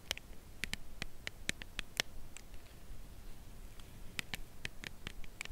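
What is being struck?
Cardboard chocolate bar box.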